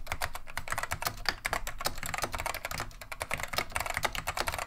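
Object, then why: Plastic mechanical keyboard. Fingertips of both hands type in continuous fast key presses on a full-size beige plastic vintage Wang 725 mechanical keyboard with Alps SKCM Neon Green/Lime switches, its hollow plastic case and keycaps resting on a wooden desk. A rapid, uneven stream of short, bright clacks sits over a low hollow thump. Each keystroke dies almost instantly with no ring.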